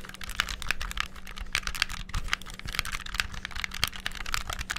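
Fingertips rapidly press the buttons and triggers of a black, hollow, handheld plastic game controller. A dense stream of sharp, bright plastic clicks and taps dies away almost instantly, over a faint steady low hum.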